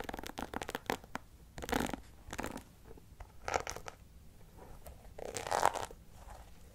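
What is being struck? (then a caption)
Plastic paddle hairbrush with rhinestone-covered back and bristles. Fingertips and nails scratch and tap the dark bristles and the pink and clear rhinestone-covered back of a plastic handheld paddle hairbrush held close to the microphone. Quiet, crackly scratching comes in short bursts with brief pauses, bright and papery with little low end. Light taps are mixed between longer rasping strokes.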